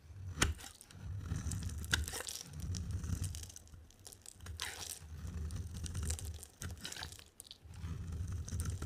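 A hand-held solid white bar of dry soap with a yellow coating is carved and scraped with a utility knife blade. Low, rumbling scraping swells in waves, broken by crisp, crunchy crackles and a few sharp, bright snaps, the loudest near the start. The sounds are dry and die away almost at once.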